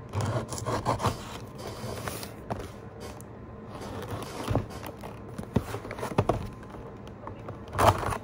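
A hollow, printed retail cardboard box for a PowerA Spectra Infinity Xbox controller, with the controller still inside, rests on a desk and is rubbed and scratched with fingernails and a pen-like tool while being turned. A steady dry, papery scraping with a hollow low body is heard, broken by short, sharper scratches and soft taps.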